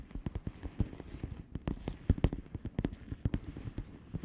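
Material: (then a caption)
Plastic. Long polished fingernails rapidly tap and scratch a flat blue plastic bubble wrap envelope, making about 22 quick, dull taps. The taps are low-heavy and soft, with short crackly scratches between them, and each sound dies almost at once with no ring.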